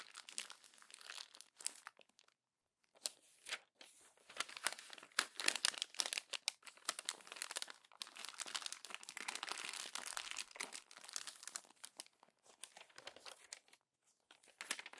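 Fingertips crumple the glossy pages of an open paper magazine and lift a crinkled stack, producing dense, bright crinkling and crackling with short pauses between bursts. The sound is dry with no low end, made of many quick, sharp rustles rather than separate hits.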